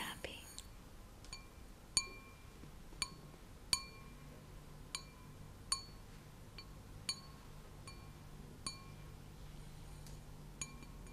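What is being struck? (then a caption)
Glass object. A glass object is tapped about twelve times at an uneven, unhurried pace, each tap giving a bright, clear clink. Each clink has short ringing tones near 1 kHz, around 2.4 kHz and higher, over a faint low hum and quiet background noise.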